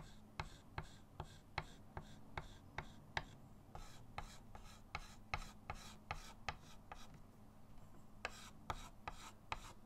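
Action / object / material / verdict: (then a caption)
tap / chalk on a small wood-framed chalkboard / chalk / none. A hand draws on a small flat chalkboard in a wooden frame resting on a table, making quick repeated chalk strokes. About 21 sharp, bright taps and scratches land at an uneven pace over a steady low hum.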